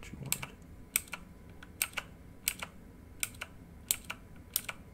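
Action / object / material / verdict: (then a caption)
tap / plastic mechanical keyboard / plastic / none. Fingertips type on a full-size plastic mechanical keyboard with RGB-lit keycaps. Fourteen sharp, bright key clicks land in quick pairs of press and release, each dying away almost instantly over a quiet background.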